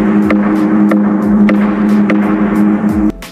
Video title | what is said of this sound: Jom Redah Gua Sireh Baling | Kalau kita ketuk gong ni bunyi sebiji macam gong.